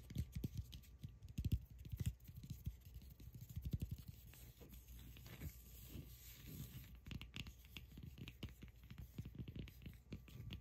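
Long acrylic nails tap and scratch the rough surface of a palm-sized solid cork ball. Quiet, dull, low-heavy taps come in quick irregular clusters, mixed with soft scratchy scraping, and each sound dies away almost at once.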